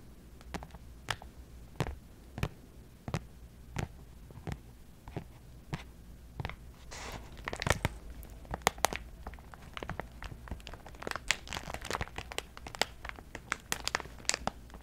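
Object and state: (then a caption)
Plastic zip pouch scratched and crinkled. Long metallic false nails scratch and crinkle a medium-size clear plastic cosmetic zip pouch with a mesh texture, held close to the microphone. Sharp clicks and taps come at a steady pace, then grow denser with crinkling and scratching bursts in the second half, over a low steady hum.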